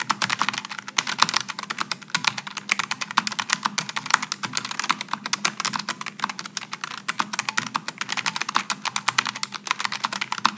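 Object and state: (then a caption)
Low-profile mechanical keyboard being typed on. Fingertips type rapidly on a Logitech G915 low-profile mechanical keyboard with GL low-profile switches and aluminum and plastic keycaps, resting on a wooden desk. A steady stream of short, crisp, bright key clicks comes through with almost no ring, over a faint low hum.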